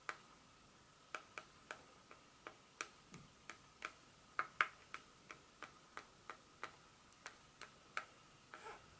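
Long pointed nails scratch the smooth back of a solid, flat dark chocolate bar held in the hand, leaving visible scratch marks. Twenty-two short, sharp, bright ticks ring briefly with a faint tone near 1.2 kHz over near silence, ending in a softer, longer scrape.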